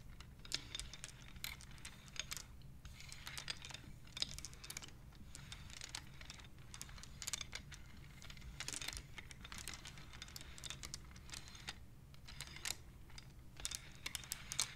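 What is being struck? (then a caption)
Wooden abacus beads. Long-nailed fingertips tap and push the beads of a wooden abacus, making a quiet, irregular stream of quick, bright clicks and clacks, some in fast flurries. A steady low hum sits beneath the dry taps throughout.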